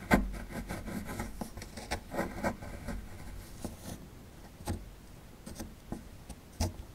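A metal pick gouges a cavity into the right end of a solid plaster fossil dig block held in hand, breaking chunks off. Gritty scraping and rasping is punctuated by sharp, bright scratches and dull low knocks, and grows quieter and more spaced out toward the end.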